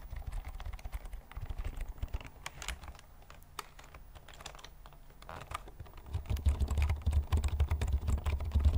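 Fingertips type on the taller keys of a full-size black plastic computer keyboard held upright in front of the microphone. The result is a quick, uneven patter of short clicks over a deep, low thumping body. The typing is quieter in the middle and grows louder and heavier toward the end.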